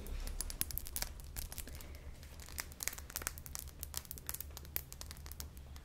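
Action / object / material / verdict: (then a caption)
tap / small glass perfume atomizer bottle / glass / none. A small faceted clear glass perfume bottle with a metal atomizer top and a pink bulb hose is held in the hands and tapped and scratched around its glass body with long painted nails. Rapid, irregular, crisp clicks and scratchy crinkling taps ring bright and die away almost instantly, over a low, steady hum.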